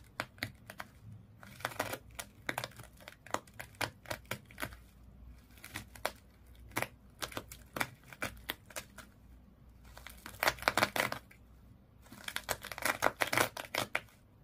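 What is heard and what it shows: Long nails scratch across the body of a small fish toy wrapped in colored twisted sisal/jute rope. The result is dry, crinkly scraping in many short, sharp bursts with bright, fibrous texture and almost no low end. The scratching grows denser and louder in two heavier rubbing stretches near the end.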